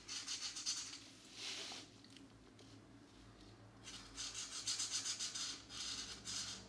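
A felt-tip marker held in the fingers rubs in quick repeated strokes across a thin paper page of a geometric coloring book, filling in green shapes. Bright, dry, scratchy strokes come in bursts, fade to a quiet stretch in the middle, then return in a steady run of rubbing.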